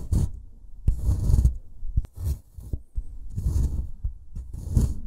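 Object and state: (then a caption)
Plaster excavation block being scraped. A small metal pick tool in a gloved hand scrapes and chips at a solid, brick-sized white plaster block from a dinosaur dig kit, piling up crumbly plaster dust. Gritty, low-heavy scraping bursts alternate with short sharp chips and brief quiet gaps, with a faint bright hiss riding on each scrape.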